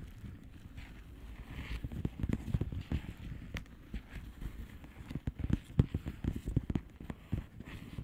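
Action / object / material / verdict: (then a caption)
tap / plastic bubble wrap mailer / plastic / none. Long painted nails of both hands tap and scratch the bubbles of a blue plastic bubble wrap mailer lying flat. Soft, quick, irregular taps with a dull, low thud come in close bursts over faint scratching. A few sharper clicks stand out, and each tap dies away almost at once.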